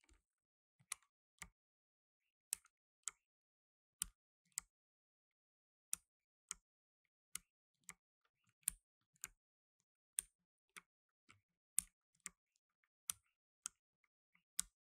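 Blue nitrile-gloved fingertips slowly press keys with plastic keycaps on a black tenkeyless mechanical keyboard. Nineteen separate, bright, sharp clicks with almost no ring stand out against near silence.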